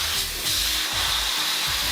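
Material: Nothing is struck.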